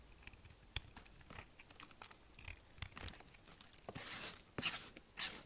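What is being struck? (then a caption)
Bar of soap shaved with a knife. A small kitchen knife blade shaves and scrapes thin chips from a solid, dry, hard green bar of soap held in the hand, with a pile of shavings on the table. Crisp, bright scraping and crunching strokes come in quick, uneven bursts with sharp clicks. The scraping grows louder and more sustained toward the end.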